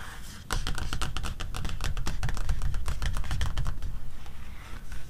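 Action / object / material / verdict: tap / glossy paper magazine cover / paper / none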